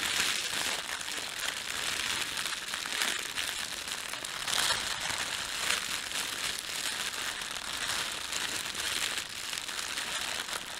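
A red-and-white printed thin plastic bakery bread bag is rubbed with flat hands and crumpled with fingertips. The result is a steady, continuous crinkling and crackling that is bright and hissy, with almost no low end, and the level stays fairly even throughout.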